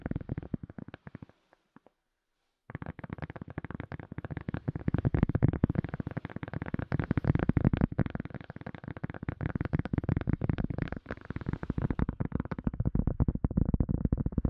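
A silicone cup lid is tapped rapidly with no talking, giving dense, dull, low-heavy taps that stop almost instantly with no ring. After a brief sparse start, the tapping pauses for about a second and a half, then resumes as a steady, quick flurry that runs to the end.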